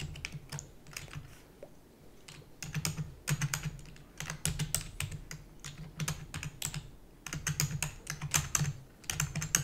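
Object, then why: Plastic computer keyboard keys. Long natural nails and fingertips type rapidly on a full-size black plastic keyboard with hollow keys. Quick bursts of sharp, bright clicks ride over a hollow low thud, with short pauses between runs. Each tap dies away almost at once.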